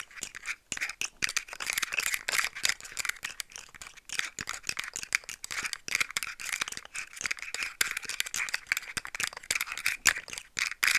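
Long nails tap a rainbow-colored segmented plastic slug fidget toy as it is moved, making its articulated segments rattle. A steady stream of quick, dry, bright clicks and clatters runs throughout, with almost no low end and no ringing after each tap.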